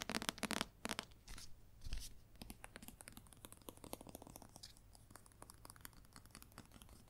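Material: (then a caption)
Paper. Long nails scratch and tap the front cover and then the spine of a red paperback novel. Loud, broad scratching bursts in the first two seconds give way to a steady run of quick, soft, bright taps that fade slightly toward the end.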